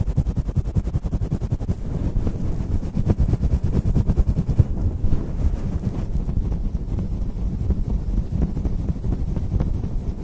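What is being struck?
Faux-fur microphone windscreen.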